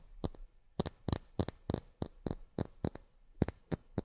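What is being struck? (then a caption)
Miniature plastic drinking glasses. Miniature plastic drinking glasses are tapped with long fingernails in a quick, irregular rhythm. Each tap is a short, dry click with a bright, crisp top and almost no ring, heard quietly against a near-silent background.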